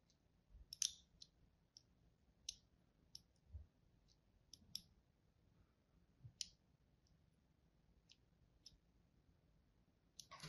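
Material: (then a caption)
Soap. A thin blade tip scores lines across the face of a solid, palm-sized white embossed soap bar. The result is a quiet series of short, sharp, bright scratching clicks with gaps of near silence between them, plus a few faint low thuds.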